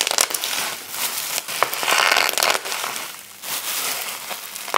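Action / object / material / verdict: scrape / plastic bubble wrap / plastic / none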